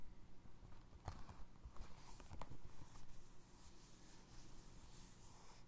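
Fingertips tap and scratch a single navy blue foam resin Crocs clog, first on the upper and then along the ridged sole. Soft, dull taps and scratchy rubbing sit mostly in a low, muffled range, with a few sharper knocks standing out.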